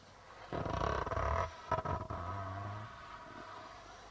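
Fingertips rub and tap the white plastic membrane of a hollow darbuka drum. A dense, rumbling scrape gives way to a few quick taps. The hollow body then hums with a low, fading resonance.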